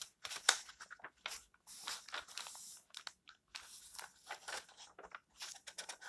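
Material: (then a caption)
Paper. A hand sweeps over and turns the illustrated paper pages of an open paperback book, making soft, bright rustles and crinkles. The sound comes in short, quiet bursts with brief gaps, with almost no low end.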